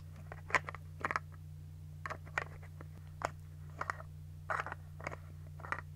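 Long nails scratch and tap on a white plastic toner bottle with a cap, which is partly full, and fiddle with its cap. Short, dry, bright clicks and scratches come in irregular bursts over a steady low hum.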